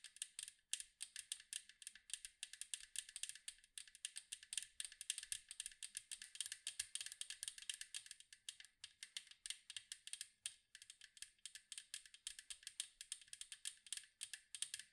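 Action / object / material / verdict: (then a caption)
tap / metal cookie tin / metal / none. Long mint acrylic nails rapidly tap and scratch the blue and white striped side of a round, hollow metal cookie tin with a lid, held in both hands. The result is a quiet, continuous stream of crisp, bright clicks and scratchy ticks, each dying away almost instantly, with almost no low end.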